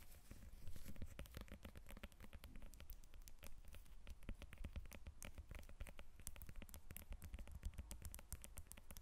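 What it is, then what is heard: Lemon. Long nails tap and scratch the peel of a whole yellow lemon resting on a table. A dense, quick patter of light, dry clicks mixes with a soft scratchy rustle over a low, steady rumble.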